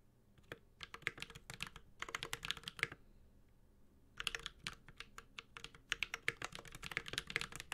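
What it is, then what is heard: Mechanical keyboard, aluminium case with plastic keycaps. A Space65 Cybervoyager 65% mechanical keyboard with an aluminum case, ABS keycaps and Holy Panda switches is typed on with the fingertips of both hands. Bursts of short, bright, clacky keystrokes come in quick runs, with a brief lull near the middle of the clip. Each stroke is dry and stops almost at once, with little low-end thump.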